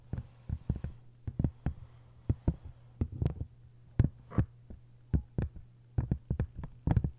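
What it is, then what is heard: Paper-covered hardcover book. Long fingernails tap and scratch on a hardcover book with a paper dust jacket, with some fingertip rubbing. A rapid, uneven series of short, dull, low taps and brief scratches plays over a steady low hum, each tap dying away almost instantly.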